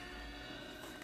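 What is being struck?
Nothing is struck.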